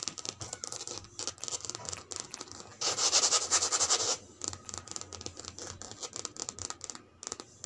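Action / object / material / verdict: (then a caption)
scrape / coated canvas handbag / coated canvas / none. Long red nails scratch across the body of a cream-and-grey checkered coated canvas handbag with a leather strap and metal charm, lying flat. The result is a rapid run of dry, bright, crinkly scratches, with a louder, denser stretch of continuous scraping near the middle before the quick strokes return.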